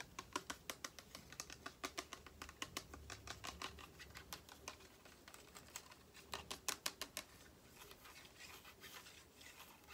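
Long painted fingernails tap and scratch along the body of a tall, clear, cylindrical glass spray bottle with an orange label and spray top, held sideways and partly filled with liquid. Quiet, sharp, bright clicks come in quick uneven runs with almost no ring. Toward the end they fade into a softer, dense scratching patter.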